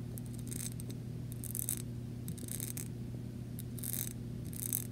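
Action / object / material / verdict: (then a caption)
scrape / small glass jar tapped and scratched with fingernails / glass / none. Long nails tap and scratch the side of a small clear glass jar with bead decoration, holding paper pieces and lying on carpet. Quick bright scratching bursts come in short clusters over a steady low hum, each dying away almost at once.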